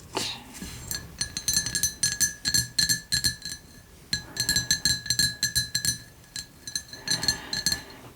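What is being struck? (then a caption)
Ceramic cup with lid and handle. A ceramic gift cup shaped like an instant noodle cup, with a lid and handle, is tapped in quick, uneven bursts that give bright, glassy clinks. Each tap rings briefly at a high pitch, with a short pause near the middle before the tapping resumes.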